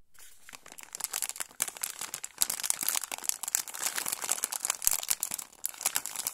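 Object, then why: Foil-lined plastic snack bag. A small sealed orange foil-lined plastic pouch of Lucky mini date cookies, full and soft-filled, is held in both hands while fingertips squeeze and rub it. This produces a steady stream of bright, crisp crinkling and crackling with sharp, quickly fading snaps and almost no low end.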